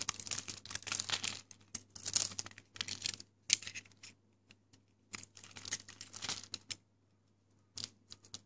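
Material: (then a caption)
Soap. A pink, dry, hard Lux bar soap is held in the hand and carved with the metal blade of a yellow box cutter until it breaks into crumbly chunks. Bursts of dry, crisp scraping and crackling, bright and high in tone, come in irregular clusters with short pauses between them, over a faint steady low hum.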